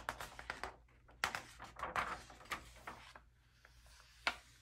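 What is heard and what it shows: A bare hand grips the edge of an open early-2000s magazine, turning several thin glossy paper pages and smoothing them flat with the fingertips. The pages give a quick series of crisp, bright rustles and soft slaps, with fainter brushing between them and a final sharp flick near the end.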